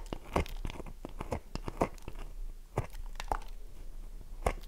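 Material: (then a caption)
Soap. Long nails scratch the scored face of a solid oval bar of dry soap held in the hands. The result is a quick, irregular series of short, dry, crunchy scrapes and ticks, with a few louder bursts.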